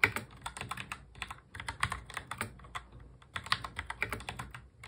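Fingertips of both hands press the keys of a full-size black plastic mechanical keyboard in fast touch typing. The result is a rapid, uneven stream of bright, sharp clacks that die away almost instantly, with brief lulls between bursts.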